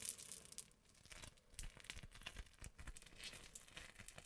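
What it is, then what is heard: Crunchy foam-bead slime. Crunchy foam-bead slime is pressed between the fingers, then stretched into long strands. It gives a quiet, dense stream of bright crackles and pops, with soft low squishes underneath and no clear pauses.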